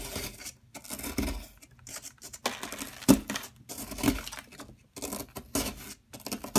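A solid yellow plaster excavation block is scraped and chipped with a metal tool by a hand with long nails, leaving crumbs piled beside it. Bursts of dry, gritty scraping alternate with short pauses, broken by sharper crisp chips and crumbling sounds.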